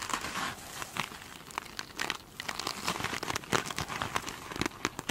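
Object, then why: Foam sponge with mesh covering. Long pointed nails scratch and tap the glitter mesh covering of a foam sponge. The result is a dense, crinkly rustle with many quick, bright, crackling ticks and scrapes that rise and fall in loudness.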